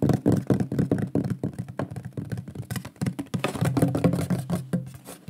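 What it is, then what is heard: Wooden plaque tapped. Fingertips and nails tap rapidly on the surface of a large, flat, shield-shaped solid wooden pyrography plaque with a burned lion artwork, held upright. The result is a fast, uneven stream of dull, low-pitched knocks with very short decay and little high-end brightness.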